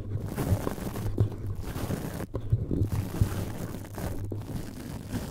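A cotton swab rubs and scratches the red perforated metal mesh grille of a powered cylindrical USB microphone with a hollow grille. The result is a dull, muffled scratching and rubbing with soft crunchy bumps over a steady low hum near 100 Hz, and almost no high or bright content.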